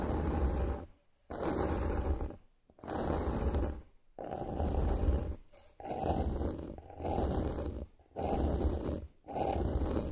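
Long nails scratch across a solid, flat bamboo wooden board lying on a surface, making about eight sustained raspy strokes separated by short pauses. The scraping is dense and grainy with a low, rumbling body and almost no bright content.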